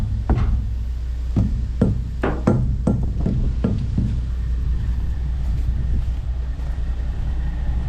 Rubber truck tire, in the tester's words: Listening for air leaks. I don't hear no air leaking anywhere.